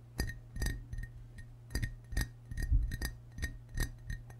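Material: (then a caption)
Ceramic. Fingertips and short nails tap the white belly and green sides of a hollow, glazed ceramic frog mug held in both hands. The taps give quick, bright clinks, each with a short ring near 2 kHz, over a steady low hum.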